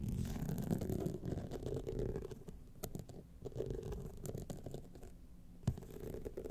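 Long fingernails scratch across the studded face of a gold rhinestone-studded clutch wallet standing upright. The result is a soft, irregular, rapid scratching with a low, rumbly body, plus one sharper click near the end.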